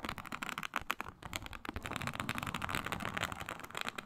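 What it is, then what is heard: Faux snakeskin leather mat being scratched. Long nails scratch with both hands across a flat, iridescent faux snakeskin mat of synthetic leather embossed with a reptile pattern. The result is a dense run of quick, crackly scraping strokes with a bright, rustling texture. The scratches start as sharper separate bursts and then blend into a steady, busy scratching.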